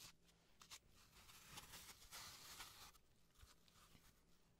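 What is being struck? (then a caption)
Floral foam block scraped with a carving tool. A solid green floral foam block, held in gloved hands, is scraped and carved with a slim carving tool. Quiet, bright, dry scratching comes in uneven bursts, with the densest scraping in the middle of the clip. A faint low hum runs underneath.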